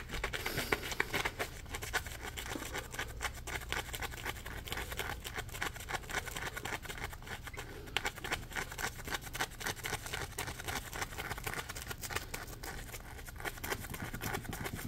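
A dry, porous, palm-sized yellow Scrub Daddy polymer foam sponge is held in both hands and scratched with fingernails. Dense, irregular scratching and crackling runs steadily throughout, with bright, gritty texture over a faint low rumble.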